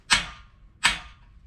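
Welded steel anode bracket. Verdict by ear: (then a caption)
Poorly welded. A poorly welded steel anode support bracket is struck twice, giving two sharp, bright taps that die away quickly instead of ringing like a bell. This dull, short response marks a bad weld, in contrast to the bell-like ring of a sound one.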